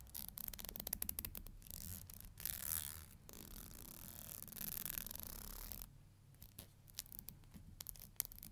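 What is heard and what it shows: Long nails flick and scratch the teeth of a thin, solid black plastic hair comb. Quick, sharp, bright ticks alternate with longer scratchy, hissing strokes. Everything sits quietly over a low rumble.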